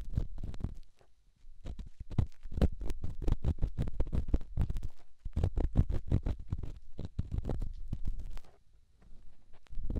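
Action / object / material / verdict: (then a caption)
scrape / rough stone against silicone / stone / none. A solid rough rock held in the fingertips is rubbed against a silicone microphone ear, producing dense, muffled low scraping and thumping with rapid gritty strokes. The rubbing comes in bursts with brief quiet pauses near the start and toward the end.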